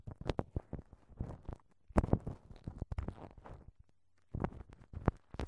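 A thin wooden ear pick scratches and rubs a left-side silicone dummy microphone ear wrapped in clear, crinkled plastic cling film. The result is close, muffled crinkling and scraping in short, sharp bursts and clusters of quick taps, heavy in the low end, with a brief quiet pause before the rustling resumes.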